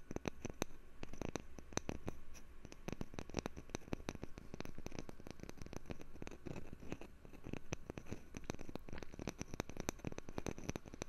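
A wooden lid is tapped for ASMR, producing a rapid, continuous run of short, dry taps. The taps have a soft, low-heavy body with quick clicky tops that die away almost instantly, over a faint steady background hiss.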